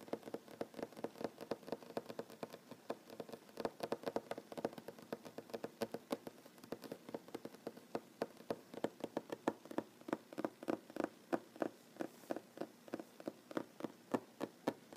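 Short fingernails and fingertips of one hand tap and drum rapidly on a flat, solid wooden tabletop with visible plank seams, while the other hand, wearing rings, rests on it. The result is a quiet, continuous patter of dry, clicky taps that die away almost instantly, with a woody mid-range tone and little deep or bright content.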